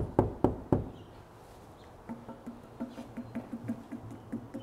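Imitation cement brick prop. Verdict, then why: Fake. Three sharp, dry knocks land on a fake cement brick prop, followed by a longer run of softer, hollow-sounding taps with a low resonant tone. The very light prop gives short clicks with almost no ring, giving it away as fake rather than real cement.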